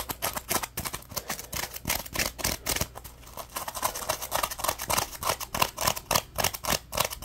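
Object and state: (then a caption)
Dry foam sponge. A dry, yellow-orange Scrub Daddy Puppy polymer foam sponge is scratched on its textured scrubbing side with short nails and squeezed with fingers. The result is a rapid, somewhat irregular stream of short, bright, scratchy rasps, about three to four per second. Each rasp stops quickly, with little low end.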